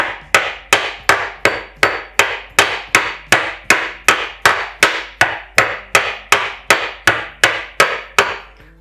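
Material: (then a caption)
Porcelain stoneware. A metal hammer with a plastic cover strikes a porcelain stoneware kitchen countertop 22 times at a steady pace, each blow a sharp, bright knock with a brief ring. The countertop stays intact, with nothing crumbled or broken, which is credited to the properties of porcelain stoneware as opposed to ordinary tiles.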